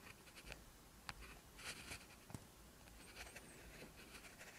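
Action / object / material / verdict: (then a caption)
scrape / ballpoint pen on lined paper / paper / none. An orange ballpoint pen tip scratches across a lined paper sheet, close-up, while writing Korean text. Steady, soft writing strokes make bright, papery scratches with a few sharper taps against a quiet low hum.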